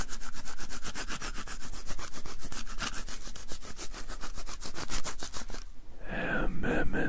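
A white plastic lint roller with an adhesive paper roll is held upright while both palms press onto the sticky paper and peel away. A rapid, steady run of crackling sticky peels and rubbing taps, about four per second, fills most of the clip, then gives way near the end to a smoother, fuller rubbing sound.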